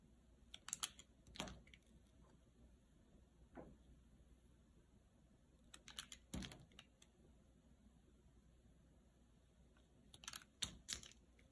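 A dry, solid cream bar soap with a red outer layer is held in the hand and sliced into thin flat slabs with a utility knife blade. Each cut makes crisp, bright clicking and crackling snaps that come in short clustered bursts with quiet pauses between them. The snaps are dry and die away almost instantly, with no ring.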